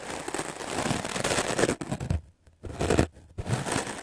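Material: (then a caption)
Melamine foam. A white melamine foam sponge block held in the hand is scrubbed fast and hard with a wooden-backed stiff-bristle clothes brush. The strokes make a dense, scratchy, crackling rasp across a broad range up to bright highs, with two short silent gaps before the brushing resumes.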